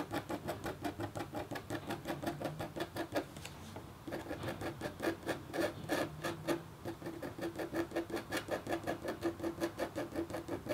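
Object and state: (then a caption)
Scratching a copper foil scratch-art board. A red-handled, metal-tipped stylus scratches short strokes into a flat, black-coated copper foil scratch art board held in the other hand. It makes a quick, steady run of dry, raspy scrapes, close to three per second, with a slight tonal edge. Each stroke stops dead, and there is a brief quieter pause partway through.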